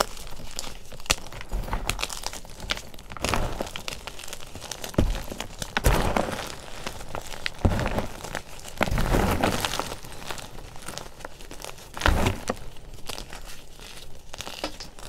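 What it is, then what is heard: Oil-soaked crushed gym chalk. Bare fingertips squeeze, crumble and rub a pile of crushed white gym chalk (magnesium carbonate) blocks soaked in baby oil, solid fragments and powder, in a green plastic bowl. Dense, soft crackling and crinkly crunching runs throughout, with heavier, fuller crunches near 6, 8, 9 and 12 seconds. The sound is mostly low and muffled, with only a little high grit and short ring.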